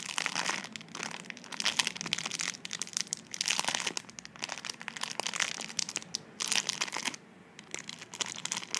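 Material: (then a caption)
Plastic film. Long nails and fingertips squeeze, crinkle and scratch the clear plastic film sealing a slim tubular item held in both hands. The result is bright, crackly crinkling in dense bursts with sharp ticks, and a brief quieter pause near the end before the crinkling resumes.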